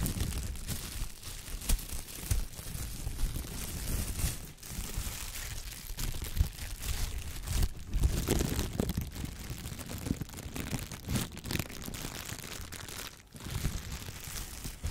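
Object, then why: Thin plastic shower cap. A clear, thin, empty plastic shower cap is held up and shaken, then opened and crumpled with the fingertips. Dense, continuous crinkling and crackling runs throughout, with sharp bright snaps over a heavy low rumble of handling.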